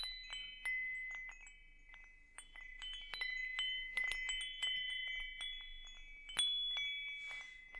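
A hanging wind chime with hollow metal tubes is held up, swayed and tapped with fingers, producing irregular, overlapping metallic strikes. Bright, clear tones ring out and sustain around 2 kHz with higher shimmering overtones, each strike decaying over about a second as new ones layer on top. There is almost no low end, just a continuous glittering wash of chime tones.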